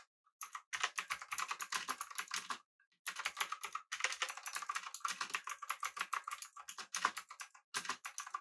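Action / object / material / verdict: tap / mechanical keyboard, aluminum body, plastic keycaps / plastic / none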